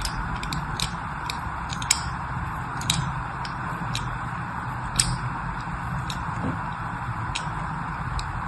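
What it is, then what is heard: Bar of soap being scraped. A hand-sized, solid rectangular pink-and-white striped bar of soap is held in one hand, with long manicured nails, and repeatedly scratched and scored along its surface with a thin metal pick held in the other hand. Short, bright, crisp scraping ticks come at irregular intervals, a few sharper than the rest, over a steady low background hiss.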